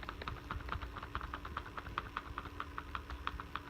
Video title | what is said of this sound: Dyson v7 animal pro (hepa) | I shake this you can hear it you can see it wiggle side to side it's not very secure